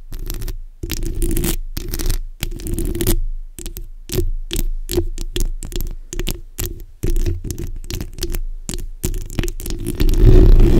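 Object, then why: Steel mesh microphone grille. The backs of long nails scratch across a black hollow steel mesh microphone grille. This makes a dense, low, rumbling scrape in repeated bursts with brief silent gaps between them, growing heavier and louder toward the end.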